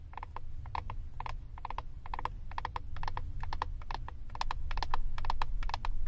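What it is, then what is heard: Plastic eyeshadow compact. Long acrylic nails tap and scratch the back of a flat plastic eyeshadow compact with a glossy label. Quick, irregular clicky taps with a hollow, mid-pitched tone ride over a steady low rumble, growing slightly louder toward the end.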